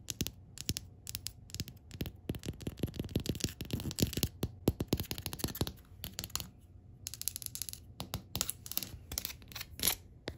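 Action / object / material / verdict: tap / wooden tabletop / wood / none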